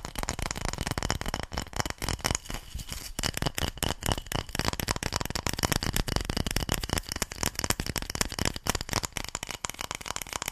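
A light, solid bamboo paddle-shaped object with a ridged, slatted surface is held in one hand and scratched and tapped along its ridges with long nails. The result is a dense, rapid run of dry, woody clicks and rasping scrapes spread from low thuds to bright crackle. The texture stays busy throughout, easing briefly just before the three-second mark.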